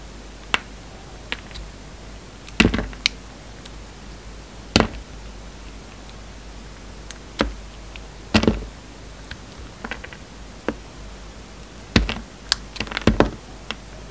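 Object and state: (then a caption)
Carved soap flower being cut. A steel utility-knife blade cuts petals off a hand-sized flower carved from solid pink soap, held in the hand. Short, crisp slicing snaps and taps with bright edges sound at irregular intervals, some in quick clusters, over a quiet background. Each cut dies away almost instantly.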